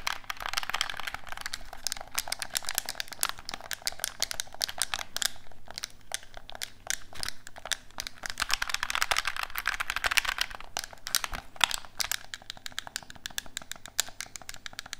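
A black, hollow plastic gamepad is held in both hands while its buttons are clicked and its shell is tapped with fingertips. The result is a dense, rapid stream of short, crisp, bright clicks and taps that die away almost instantly, over a faint steady low hum.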